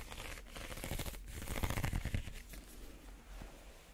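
A small, empty woven reed basket is held upside down while fingernails scratch across its woven surface. The result is a quiet, dry, crackly rasping of uneven strokes, swelling in the middle, with a soft low rumble underneath.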